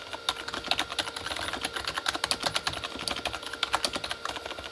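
Both hands type fast with their fingertips on a full-size Corsair K35 plastic mechanical keyboard with red-backlit plastic keys. The result is a rapid, uneven run of dozens of short, bright plastic clacks with almost no low end, over a faint steady tonal hum.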